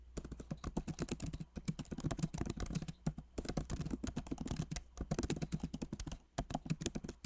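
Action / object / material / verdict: tap / plastic keycaps on a laptop keyboard / plastic / none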